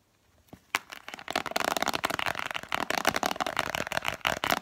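A hollow, translucent plastic Spontex vinyl-glove container with an orange printed cardboard sleeve, held in both hands, is tapped quickly with long manicured fingernails. After a brief near-silence and one sharp tap, a dense, continuous flurry of dry, clicky, bright taps follows with almost no low end. Each tap stops almost instantly.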